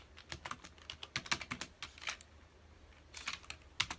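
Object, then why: Plastic computer keyboard. Fingertips of both hands rapidly press the keys of a full-size black plastic computer keyboard resting on a dark desk. The result is quick, bright, clicky typing taps with very short decay, coming in bursts with a brief lull in the middle.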